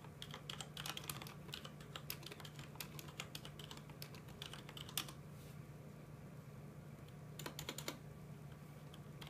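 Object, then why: Mechanical keyboard with plastic keycaps. Fingertips of both hands type on a full-size mechanical keyboard with plastic keycaps, producing rapid, bright, short clacks over a steady low hum. A dense flurry of keystrokes runs for about five seconds, pauses, and then a few more taps come near the end.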